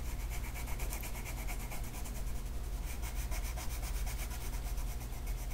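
A green colored pencil makes scratchy shading strokes across a flat paper mandala coloring sheet. Soft, steady rubbing and scratching carries faint bright streaks over a constant low hum, with no clear pauses between strokes.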